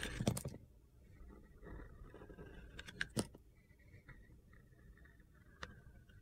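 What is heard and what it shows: A utility knife blade shaves the gold glitter coating off a small, solid white Ivory soap bar held in the hand. Sharp, crisp scrapes stand out near the start, around three seconds and near the end. Quieter, gritty carving scratches fill the gaps between them.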